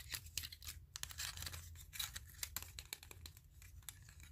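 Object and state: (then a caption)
Wooden clothespins being scratched. Fingertips rub and scratch along the wooden edges of a bundle of small wooden clothespins with metal springs. The result is a quick run of dry, bright scratching and rasping strokes that stop sharply, over a faint low hum.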